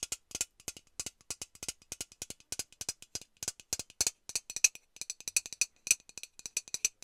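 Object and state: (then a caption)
Metal aerosol can tapped and rattled. A hollow metal Lynx aerosol deodorant can is shaken and tapped with long nails, its mixing ball rattling inside. Dozens of quick, dry, bright clicks and rattles come in an uneven rhythm, with almost no low end and each hit dying away at once.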